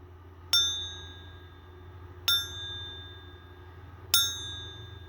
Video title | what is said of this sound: ARE THESE SILVER BARS FAKE? #fake #silver | these are actually thin enough where you can almost do a type of like ping test on them